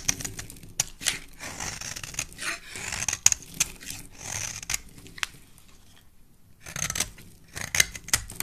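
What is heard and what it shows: A metal blade scrapes along the edge of a hand-sized, solid white bar of soap with a yellow stripe, held in the hand, shaving curls off it. The strokes produce bright, crisp scraping and rasping sounds punctuated by short, sharp ticks. There is a brief quiet pause near the end before the scraping resumes.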